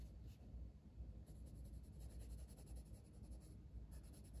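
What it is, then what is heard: Colored pencil rubbing on a paper page. A red wooden colored pencil colors a flat paper page of a coloring book in small strokes, its lead rubbing against the paper. The result is a quiet, continuous, low scratchy rustle with faint, brighter strokes repeating at an uneven pace.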